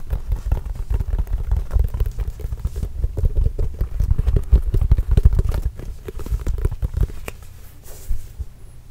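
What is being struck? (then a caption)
Leather basketball. Fingertips tap rapidly and continuously on a hollow, inflated Spalding Trail Blazers autographed leather basketball. The result is a dense patter of short, dull, deep thumps with almost no high end and very little ring, softening over the last few seconds.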